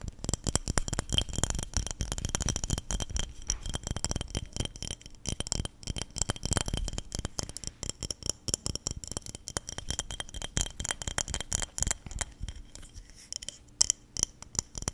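A small clear glass jar with a silver metal screw lid, partly filled with small pink items, is held in one hand beside the microphone and shaken. The contents rattle rapidly against the glass in a dense stream of short, sharp clicks with a bright, high glassy edge and a low thump. The shaking continues steadily for the whole clip, with a few louder rattles near the end.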